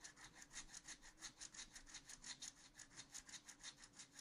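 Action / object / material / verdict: scrape / wooden stylus on coated scratch art paper in a spiral notebook / coated paper / none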